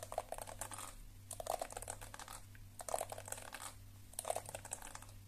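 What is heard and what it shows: Long nails scratch the flexible plastic bristles and tap the hollow body of a lilac and black plastic detangling hairbrush. Quick, crackly bursts of scratching with a bright hiss and a hollow tap tone near 670 Hz come in about four clusters over a steady low hum.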